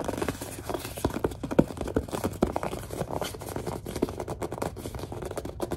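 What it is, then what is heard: Plastic lotion bottle. A large white plastic Suave lotion bottle is squeezed, gripped and tapped with long dark nails. The result is a dense run of short, dry crackles, scratches and light taps with brief squeaky tones in the low mids, with no ringing.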